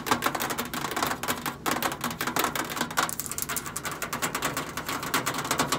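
Long acrylic nails tap the side panel of a hollow stainless steel microwave, then rapidly tap along the front control panel edge beside the keypad sticker. The result is a dense, fast stream of sharp, bright clicks with short, hollow metallic ticks that die away almost instantly.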